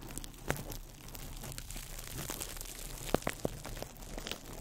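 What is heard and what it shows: A small ball of crumpled clear plastic wrap is held in the fingertips over the mic and squeezed and crinkled. The result is a dense, quiet crackle over a steady low rumble, with a few sharper, louder snaps early on and again near the end.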